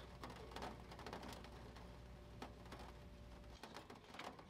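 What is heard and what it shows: An open vintage paper catalog with thin glossy printed pages, lying flat on a wooden table, is handled as fingertips tap and rub the pages while flipping them. The result is soft, quiet papery taps and brushing rustles over a low steady hum, which drops out near the end.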